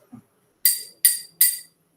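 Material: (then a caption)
Glass. A pupil in a classroom strikes a drinking glass three times, each hit giving a bright, clear ring with a tone near 2 kHz and higher partials that fades within about a third of a second. A faint low murmur comes just before the first strike, and the glass is shown to make a sound when struck.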